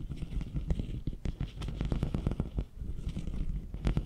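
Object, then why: Hollow plastic corrugated tube. Fingernails scratch along the ribs of a long, hollow, empty pink ribbed plastic corrugated tube held diagonally. The result is a dense run of short, dry ticks and rasping crackles with a deep, muffled rumbling body and occasional brighter clicks.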